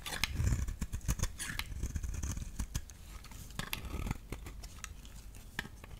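A solid yellow-orange bar of soap, held in the hand, is cut and shaved with a utility knife blade, peeling off small curls. Quick, crisp scraping and slicing strokes follow one another, each with a bright edge over a muffled low thud.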